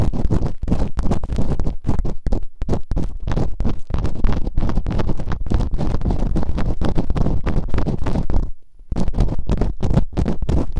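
Bamboo earpicks, held in long-nailed fingertips, scratch and rub quickly inside the open canals of both soft, solid rubbery silicone ear models on a white binaural microphone. The result is a dense stream of rapid, muffled, deep scraping and thumping strokes with almost no high end. The strokes pause briefly near the end before starting again.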